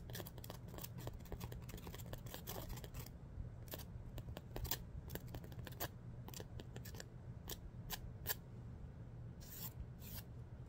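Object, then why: Emery board nail file. Fingernails are scraped back and forth along a long, dark emery board nail file held in the other hand. The result is quiet, bright, raspy filing strokes, dense and rapid for the first three seconds, then sparser and more spaced out, over a steady low hum.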